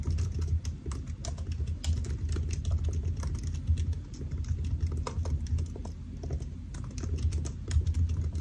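Fingertips of both hands type steadily on a solid silver aluminium laptop with black plastic keys, resting on a white desk. A dense, continuous run of short, soft key taps carries a low, muffled thump, with faint crisp clicks above it and brief dips in the pace.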